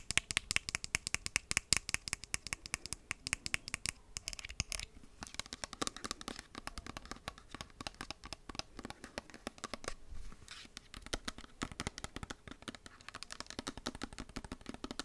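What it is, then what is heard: Plastic squeeze bottle. Long acrylic nails tap and scratch the sides of a hollow white plastic squeeze lotion bottle with a green cap while it is held and turned. The result is a steady stream of quick, crisp clicks and scratchy rasps, bright and high with little low end, each tap dying away almost instantly.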